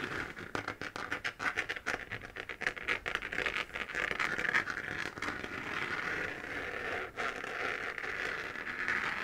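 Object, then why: 3D-printed plastic moon-lamp sphere. Long fingernails scratch across the textured surface of a hollow 3D-printed plastic moon-lamp sphere glowing white. The result is a dense run of quick, dry scratching and pattering strokes with a bright, hissy tone centered in the upper mids and almost no low end. The strokes start choppy, then blend into a steadier, continuous rasp with a brief dip near the end.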